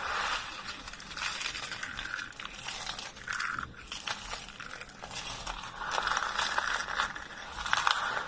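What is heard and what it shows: Hands press, rub and crumble a pile of thin, dry lilac soap flakes on a wooden table. A steady stream of dry, crisp crunching and crinkling with scraping textures swells in bright bursts, strongest near the start and again toward the end.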